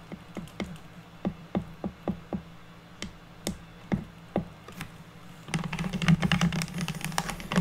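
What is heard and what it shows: Long natural nails of both hands tap fast on a solid, square, unfinished pine wood board. Separate, irregular taps give short, dry clicks with a low knock over a steady low hum. From about 5.5 seconds they become a dense, louder flurry of rapid tapping.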